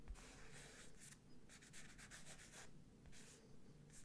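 Fingertips trace and scratch across the printed letters of a medium square IKEA London wall picture, a printed textured canvas surface on a rigid frame held close to the mic. Soft, dry rubbing strokes come in repeated bursts of bright, papery hiss over a quiet low rumble, each stroke fading quickly.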